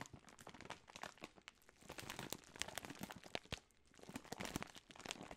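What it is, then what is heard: Plastic bag of wrapped hard candies. A large Jolly Rancher bag of plastic film, full of wrapped hard candies, is crinkled and shaken in the hands, with fingertips and long nails moving over the film. Dense, bright crackling and crunching crinkles come in uneven bursts, with quieter pauses between.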